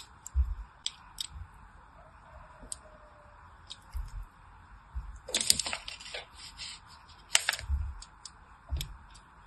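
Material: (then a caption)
Soap. A solid, hand-sized pink soap bar, held in one hand with long white nails, is scored again and again with a thin pointed blade, carving a crosshatch of shallow cuts. Short, crisp, bright scratching ticks come in scattered bursts over soft low thumps, and each stroke dies away almost at once.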